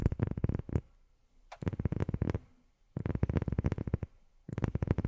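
A rubber sheet is tapped with long fingernails in four quick bursts of rapid tapping, separated by short pauses. Each tap is a short, dull, low thud with a faint bright click at the onset and almost no ring.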